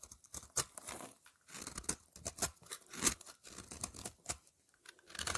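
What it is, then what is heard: Soap bar scraped into curls. A utility knife blade scrapes curls off a solid lavender soap bar held in the hand. The sound is a series of crisp, bright, dry scraping strokes that rise and fade irregularly, with little low end and short pauses between bursts.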